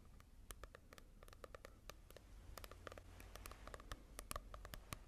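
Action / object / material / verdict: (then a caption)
tap / paperback book with glossy cover / coated paper / none. Fingertips tap and scratch on the glossy cover of a manga volume, making quick, sharp, dry clicks in an uneven run over a faint low background hum. Each tap stops instantly with no ring.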